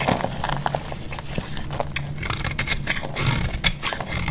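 A solid rectangular bar of dried green soap is held in the hand and carved with a metal utility-knife blade, shaving it into crunchy flakes. Dense, dry crackling and scraping crunches run continuously, with bright sharp snaps rising above a steady low rumble.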